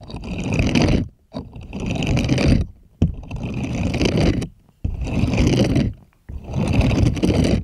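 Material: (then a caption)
Silicone. Plastic toy hands scrape across the nubbed bristles of a purple silicone scrubbing glove in five long, separate passes. Each pass is a dense, low-heavy rustling scrape with faint bright texture on top, and short pauses fall between the strokes.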